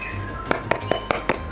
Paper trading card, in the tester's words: yang ini lebih nyaring Bu n karena lebih tipis